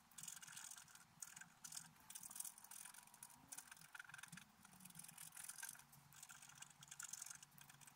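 A wooden stylus scrapes the lower flowers on a flat, black-coated scratch-art paper card. It makes bursts of bright, high, dry scratching that rise and fall in quick, uneven strokes, with faint low rumble beneath.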